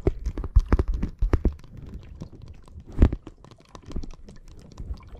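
Long nails tap and scratch the surface of a flat, clear plastic bag full of small red water beads resting on top of the microphone. The result is a dense run of quick, dull, low-heavy taps and soft scratchy crackles with no ring, loudest in the first second and briefly again near the three-second mark.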